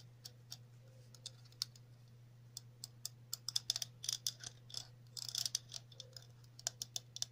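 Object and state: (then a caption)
Plastic cap tapped with nails. A hollow red plastic cap with a center hole and ridged edge, held in the hands, is scratched and tapped on the rim with long natural nails. The result is a run of quick, dry, bright clicks and brief scratchy bursts, some in tight clusters, over a steady low hum.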